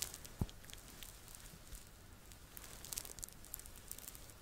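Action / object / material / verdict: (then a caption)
scrape / stuffed plush fabric toy / fleece fabric / none. Fingertips and nails scratch the fleecy fabric back of a soft, stuffed red Teletubby Po plush toy held beside the microphone. The result is quiet, crisp scratching and faint crinkly patter, with one soft, low thump near the start.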